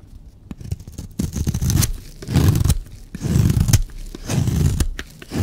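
A blade scrapes and shaves a solid, dry, green and white striped bar of soap. The result is a series of rough, crunchy scraping strokes that swell and fade in uneven bursts, heavy in low tones with faint crackle on top.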